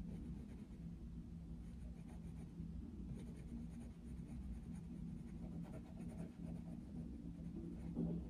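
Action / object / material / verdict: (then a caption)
scrape / coloured pencil on a paper colouring page / paper / none. A dark wooden coloured pencil is rubbed across a paper colouring book page with a Mickey Mouse picture in steady shading strokes. It makes a quiet, continuous, low scratchy rubbing that holds an even level throughout.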